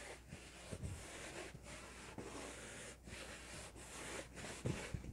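A hollow, inflated yellow latex balloon lit by LEDs is held in both hands and rubbed and scratched with fingertips and nails. Its squeaky rubbing and scratching comes in repeated broadband strokes with short gaps between them. A low hum runs underneath, and a few soft thumps are heard near the end.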